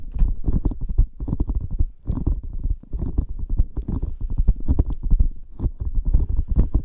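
A blue squishy rubber dolphin toy filled with gel beads is squeezed and scratched with fingertips close to the mic. It makes a fast run of short, dense, low squelching and rubbing sounds with brief faint high crackles, broken by short pauses.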